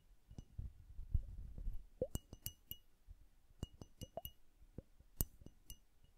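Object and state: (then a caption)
Glass bubble hourglass. Long nails tap the glass bulb of a hand-sized hourglass filled with blue liquid and bubbles. The result is a series of short, bright clinks over soft low rumbling, with each tap dying away almost at once.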